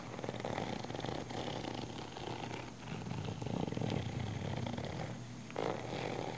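Long nails scratch the surface of a small, hollow, black padded nylon fabric camera case. The scratching makes a steady, rough, purr-like rasp with a low hum underneath, swelling in the middle and ending with a brief louder burst.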